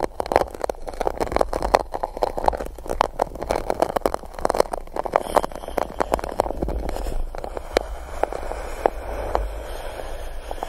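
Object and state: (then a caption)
Paper cup scratched and poked. A small silicone spiky tool scratches and pokes the top of an empty gold-coated paper cup held over the microphone. It makes dense, rapid hollow scratching and tapping with a resonant mid-range body and a low rumble underneath. Sharper isolated pokes stand out toward the end.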